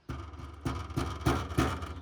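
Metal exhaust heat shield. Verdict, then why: Loose. A metal heat shield around the exhaust under a car is tapped lightly five times with a rubber mallet while the engine is cold. Each tap sets off a loud, low metallic rattle with a brief ring. The rattle shows the shield is loose, held by a rotted-through mount and a broken 10mm nut, and is the source of the rattling noise under the car.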